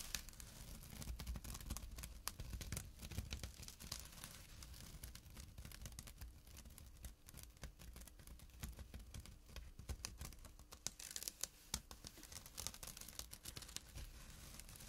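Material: Jute burlap.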